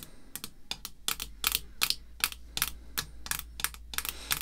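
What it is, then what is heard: Plastic graded card slab. Long red fake nails tap quickly along the top and face of a clear hard plastic graded slab holding a vintage baseball card. The result is an irregular run of sharp, bright plastic clicks with almost no ring, over a faint steady low hum.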